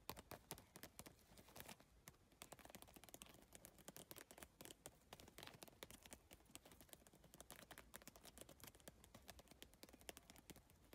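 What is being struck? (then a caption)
PVC tile bag. Long nails and fingertips tap rapidly on the iridescent triangular PVC tiles of a holographic geometric bag. The result is a dense, quiet stream of sharp, dry clicks with a bright edge, each dying away almost instantly.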